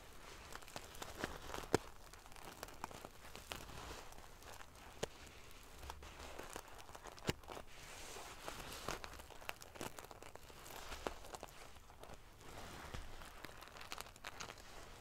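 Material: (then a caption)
Metal sequins. Long painted fingernails scratch and ruffle the rows of small silver metal sequins sewn onto the fabric of a large decorative pillow. The result is a quiet, continuous, prickly rustle of crinkling and scraping, dotted with sharp, bright clicks as the metal pieces flip and tap together.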